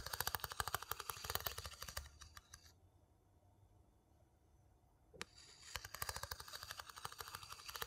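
A wooden scoop is rapidly tapped and scraped against the inner rim and inside of a small, hollow, light-colored wooden bowl, which is empty and held in one hand. Quick, dry, clicky taps with short scraping sounds fill the first two seconds. The tapping thins out and pauses into near silence, broken by one sharp tap, then resumes as a fast run of taps to the end.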